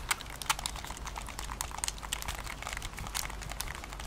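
Long nails tap and scratch the back and buttons of a Nintendo Switch, a handheld-size plastic console with a hollow body and attached controllers, held in both hands. Quick, irregular, dry clicks and bright scratchy ticks follow one another with almost no ring, over a faint low rumble.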